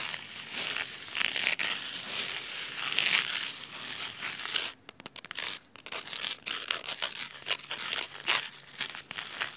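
Clawed nails scratch the cloth cover of a thick navy fabric-bound hardcover book resting on a wooden table, then move to its spine. A dense, crisp, bright scratching fills the first half; after a short break it continues as sparser, choppier scratches with brief pauses.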